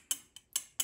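A metal wedding band taps four times at different spots around a ceramic vessel part, giving short, bright ticks centered near 3 kHz that die away almost at once. The tone differs from a first part and shifts from spot to spot, revealing a hairline crack that shows when the part is flexed slightly.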